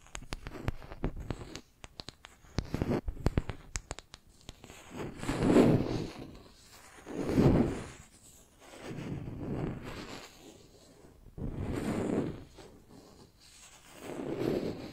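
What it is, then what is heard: Wooden brush handle scratched with nails. Long nails scratch along a flat, solid wooden makeup brush handle held in one hand. It opens with a rapid run of dry clicks and ticks, then settles into five slow, swelling scratch strokes spaced a couple of seconds apart. The sound is soft, close and muted, centered in the low-mid range.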